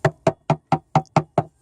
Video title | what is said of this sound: Living on a wooden boat | You can hear the rot.